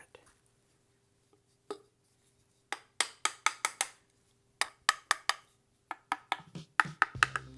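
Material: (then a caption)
Sheet metal. A metal key machine guard, deadened with Dynamat and hung on a pencil, is tapped about eighteen times. Each tap is short and dull, dying away almost at once with no ringing, over a faint steady hum. The sound-deadening works, unlike the motor guard that rings badly.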